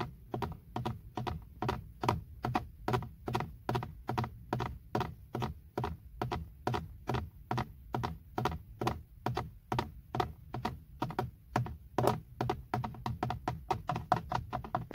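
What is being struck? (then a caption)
Plastic steering wheel airbag cover. Fingertips and short nails tap rapidly on the hard, textured, hollow plastic airbag cover in the center of a BMW steering wheel. Each tap is a short, dry, hollow knock with a low thump and a brief click that dies away almost instantly. The taps come in a loose, steady rhythm that speeds into quicker, lighter flurries near the end.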